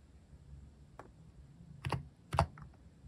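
Fingertips slowly type on a mechanical keyboard with plastic cat-shaped keycaps as the hand moves right. Four soft, short keystrokes sound with a low, muted thud and a brief mid-range click. The last two strokes are the loudest, over a quiet low hum.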